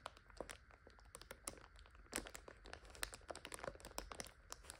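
Long nails tap rapidly and scratch along the clear plastic overwrap of a full five-pack of instant noodles. The result is a quiet, dense stream of crisp, bright crinkles and sharp clicks that die away almost instantly over a faint low rumble.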